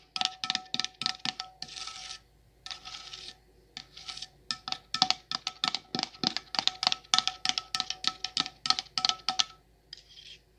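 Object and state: Candle jar with metal lid.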